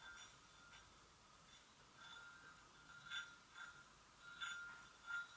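Long nails give slow, gentle single taps on the rim of a hollow, empty white porcelain gravy boat. Each tap makes a soft, bright clink ringing near 1.4 kHz with a high shimmer. The ring fades quickly against a faint hiss between taps.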